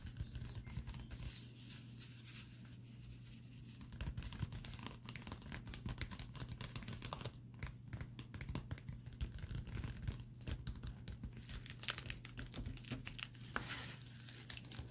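A flat pink metallic foil padded bubble mailer lies on a table while fingertips and short nails tap and scratch its crinkly surface. Soft, quick crackles and scratchy crinkling rise over a steady low hum, with a quieter stretch early on before denser tapping.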